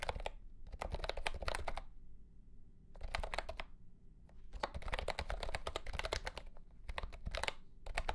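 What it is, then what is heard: Plastic mechanical keyboard being typed on. A mint-green retro plastic mechanical keyboard with round plastic keycaps in a hollow plastic case is typed on with the fingertips of both hands. Bursts of rapid, clacky keystrokes with a deep, hollow thock underneath are broken by two short pauses. Each key strike is sharp and dies away almost instantly.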